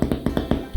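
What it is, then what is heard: Hollow-sounding baked bread loaf. Five soft, dull, low taps on the underside of a freshly baked white cob bread loaf, testing for a hollow sound that shows the bread is done. The loaf sounds hollow and passes the test, though it could have had a little longer in the oven.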